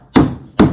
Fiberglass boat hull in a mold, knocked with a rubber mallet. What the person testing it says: Ketuk body luar ni menggunakan tukul getah sampai ada bunyi macam bunyi benda terlepas.